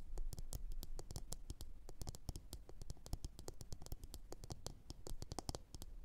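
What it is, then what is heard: Ceramic bowl tapped with fingernails. Long orange nails on both hands tap and scratch a glossy blue ceramic bowl turned upside down, hollow and empty. A rapid, steady stream of sharp, bright clicks with short ring sits over a soft scratchy texture and a low, dull thump from the bowl's body.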